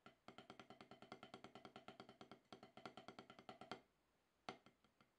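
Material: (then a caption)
Rubber. Two wooden drumsticks with wooden tips tap rapidly with alternating sticking on an octagonal HQ practice pad with a gray rubber surface on a solid black base, resting on a towel. About 37 short, dry knocks with a woody tone near 750 Hz sound in a steady run, then stop after a brief pause before a few final taps.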